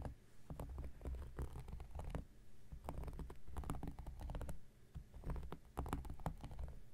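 An X-Acto knife blade scratches across the surface of a round, flat, solid cork coaster while the other hand steadies it. The result is a quiet run of dry, crackly scraping strokes with a dull low thud and brief bright ticks that die away quickly.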